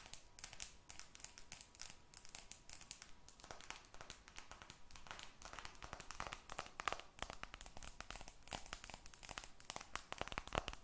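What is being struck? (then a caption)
Smartphone with glass screen and metal frame. A glass and aluminum smartphone, with a glass screen and metal frame, is held close and tapped and scratched by long red nails. Many quick, dry clicks and crinkly scratches crowd together with no spoken words. A faint steady tone runs underneath through the first few seconds.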